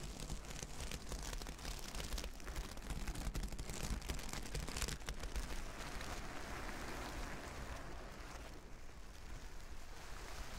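Hands with long nails brush back and forth across a reversible plastic sequin fabric sheet, flipping the sequins. The result is a steady, dense rustling and scratchy crackle over a low rumble, with the bright clicking easing somewhat in the last few seconds.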